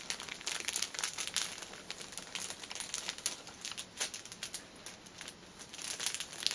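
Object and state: Cellophane-wrapped tissue pack.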